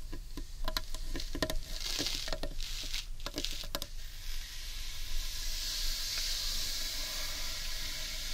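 Long nails tap and fingertips drum on the underside of a large, hollow, carved wooden bowl, giving a run of sharp, quickly fading clicks with a light resonant tone. After about four seconds the tapping stops and a steady, soft, hissing rub continues to the end.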